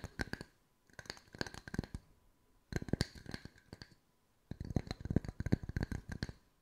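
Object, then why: Round wood slice coasters. Long white nails tap the flat surfaces of a pair of identical solid round wood slice coasters with bark edges, one held in each hand. Four bursts of quick, dry tapping are separated by brief pauses. Each tap is a short click with a low knock and a faint bright tick that stops almost at once.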